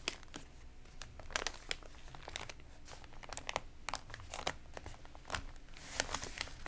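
Hands turn a stiff, wavy page of an open, glossy, water-damaged paper magazine, then flat palms rub and smooth the crinkled spread. Dense dry crinkles and crackles fill the clip, with sharp bright snaps standing out above a soft low rustle.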